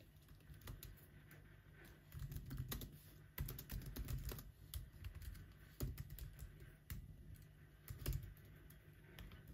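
Fingertips of both hands type on the black plastic keys of a silver laptop keyboard, making a steady run of quiet, dull taps. The clicks are short and soft with a heavy low thump under them and little brightness. Some bursts are denser and louder than others.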